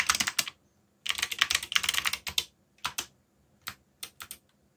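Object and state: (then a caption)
Plastic mechanical keyboard being typed on. Fingertips tap the keys of a backlit black plastic mechanical keyboard while typing. Bright, sharp clicks come in quick bursts, then slow to sparse single key presses with short pauses between them.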